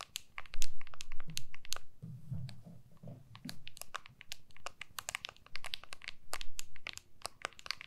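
Long manicured nails tap and scratch the back of a clear plastic MagSafe case on an iPhone with a white Apple logo, the hand-sized phone held horizontally in both hands. Many sharp, bright clicks and crinkly scratches come in quick, uneven bursts over a soft low rumble, each tap dying away almost at once.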